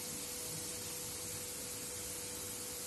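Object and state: Nothing is struck.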